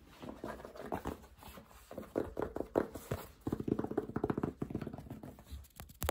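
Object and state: Fabric baseball cap.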